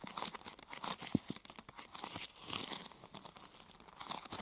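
Fingertips and nails press and rub the top of a thin, glossy purple plastic sheet curved into a hollow half-tube. The result is a quiet, steady stream of bright, dry crinkling and crackling, with a sharper snap just after the first second.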